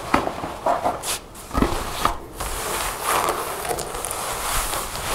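Long nails handle the metal zipper and collar of a dark faux leather jacket with zippers and snap-button pockets lying on a table. Both hands then tap and scratch its front, making sharp clicks and soft rubbing, scraping sounds.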